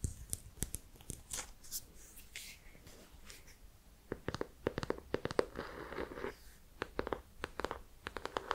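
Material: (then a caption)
Cardboard. A small, solid hardcover notebook with an ornate embossed gold and brown cover is held in the hands while long painted nails tap and scratch across its cover. Quick, sharp clicking taps alternate with soft, dry scratching and tracing strokes. It stays quiet and close throughout, with the taps clustering more densely in the second half.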